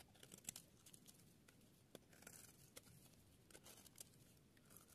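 A metal blade carves and scrapes the edge of a solid, dry yellow soap bar held in the palm, shaving off fine curls. The result is a quiet, steady run of dry, crisp scratching and crunching with sharp, bright clicks and short, dead-stopping crackles.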